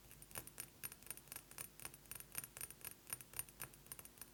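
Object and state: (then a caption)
Glass perfume bottle. A glass perfume bottle is tapped quickly with fingernails, giving about 23 quiet, bright, glassy clicks that jangle lightly with a faint high ring. Each tap dies away almost at once, and the taps come in an uneven, rapid run.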